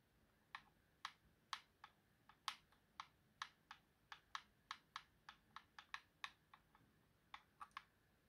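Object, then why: Plastic game controller. Fingertips tap and click the face buttons and thumbstick of a white plastic Xbox controller, a hollow hand-sized shell. About twenty sharp, bright plastic clicks come at an uneven pace over a quiet background, each one dying away almost at once, with very little low end.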